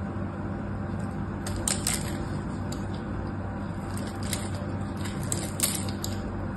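A small metal knife carves and scrapes a solid pink bar of soap held in a hand with long orange nails, breaking crumbly chips off. Soft, bright scratchy crackles rise now and then over a steady low hum, with a few sharper clicks where chips snap away.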